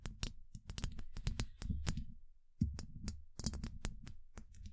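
Long acrylic nails tap rapidly on a steel mesh microphone head. The result is a stream of sharp, dry clicks over a dense low thudding rumble, with a brief pause just before the 2.6-second mark, after which the tapping resumes.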